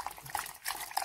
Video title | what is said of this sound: Tanjia Marrakchia/الطنجيية المراكشية | quand on secoue vous entendez bien le bruit